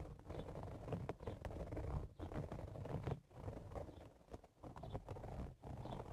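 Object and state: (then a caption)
Woven straw hat. Fingertips and nails of both hands scratch the top of the hollow crown of a woven straw cowboy hat. The result is a dense, dry, crackling scratch, heavy in the low end, that runs in bursts with brief pauses between strokes.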